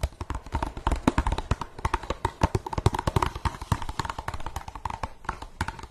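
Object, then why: Empty plastic cup. Long nails tap rapidly and unevenly on an empty translucent blue plastic cup, first held upside down and then tilted. Each tap is a short, dry click with a dull low thump and a faint hollow ring that dies away almost at once.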